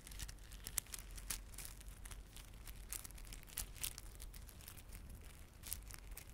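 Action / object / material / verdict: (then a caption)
scrape / plastic beaded garland with plastic fringe / plastic / none. Fingertips rub and squeeze a small clump of plastic garland held in both palms, with glossy dark blue and silver solid plastic beads and red spiky plastic fringe. Quiet, bright clicking and crinkling comes in dense, uneven bursts, with a few sharper clicks standing out over a steady low rumble.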